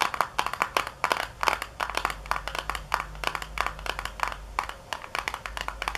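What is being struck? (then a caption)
Small paperboard box. Long nails tap quickly on the back panel of a small, hollow white paperboard box resting on a counter. The result is a dense run of short, hollow knocks with bright clicky edges, some hits harder and louder than others. Each tap dies away almost instantly over a faint low hum.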